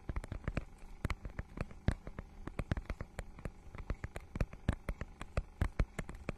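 Long nails scratch and tap across the holographic, scale-textured plastic cover of a notebook-sized book. The result is a rapid, irregular run of short, dry clicks and scrapes with a soft, low body and crisp, bright edges. Each one dies away almost instantly.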